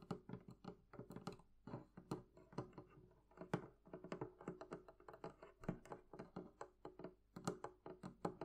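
Long nails tap rapidly across the wooden top and sides of a hollow, closed, barrel-shaped chest of wood, leather and metal. The result is a quick, irregular run of soft, dull, hollow knocks with a low woody resonance that dies away almost at once.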